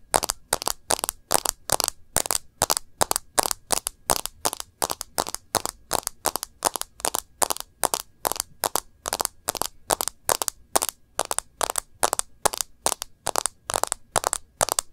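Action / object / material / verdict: tap / smartphone with glass screen in a plastic case / plastic, glass / none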